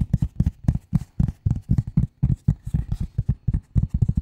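A flat gray cardboard sheet is tapped quickly with the long nail tips of both hands, giving about 21 short, dull taps in an uneven, fast rhythm. Each tap is a low, soft thud with a faint papery click and dies away almost at once.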